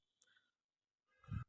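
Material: Fired clay.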